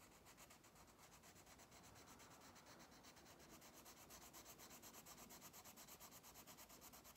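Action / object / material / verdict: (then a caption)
scrape / wax crayon on paper page / paper / none. A pink wax crayon held in the fingers rubs rapidly back and forth across an open paper coloring book page lying flat on a solid table, scratch-coloring a fish. The strokes make a steady, bright, papery scratching with a rhythmic rasp of about two strokes per second, growing more distinctly pulsed toward the end.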